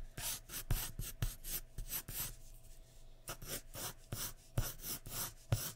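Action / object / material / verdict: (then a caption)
scrape / graphite pencil on a paper drawing sheet over wood / paper / none. The tip of a graphite pencil is scratched in repeated quick hair strokes across a large flat sheet of white drawing paper resting on a wooden surface. A rapid series of short, dry, raspy scratches with a bright hiss is heard, pausing briefly in the middle before the strokes resume at the same pace.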